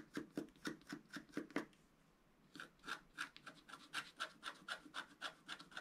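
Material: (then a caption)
Wax-coated paper. A wooden stylus scratches the wax coating of a flat scratch-art paper sheet lying on a table, working near the lower figure area. Short, dry rasping strokes come in a quick, uneven rhythm, with a gritty low body and a bright scratchy edge. A run of strokes stops for about a second of near silence, then the scratching resumes at the same pace.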